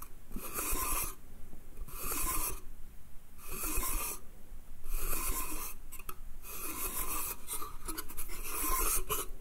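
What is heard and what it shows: Slow fingernail scratching along the slats of a small, hollow pine slatted wooden bath crate. Repeated raspy strokes carry bright, hissy scraping with a ridged ring near 1 kHz, separated by quieter pauses over a steady low rumble.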